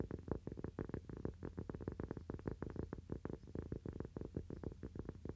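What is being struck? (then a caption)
Thin cork coaster. A small, round, thin, solid cork coaster is held in both hands and tapped quickly with fingernails. Rapid, soft, dull taps run in a steady, dense stream, each one short with almost no ring. The sound is low and muffled, with no bright edge.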